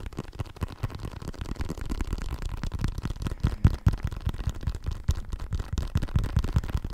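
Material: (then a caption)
Synthetic leather. A full-size black and white synthetic leather soccer ball, hollow and inflated, is held close to the microphone and tapped and scratched with fingertips and nails. The result is a quick, irregular stream of dull, low, hollow thumps with almost no ring, plus faint scratchy texture between taps for about seven seconds.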